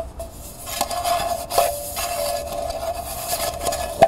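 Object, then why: Small copper-toned metal pail. Fingertips and nails scratch the inside wall of a small, hollow, empty copper-colored metal pail lying on its side. The result is a continuous dry rasping with a steady metallic ring around 670 Hz humming underneath, broken by a few sharper scrapes that briefly brighten the ring, the loudest at the very end.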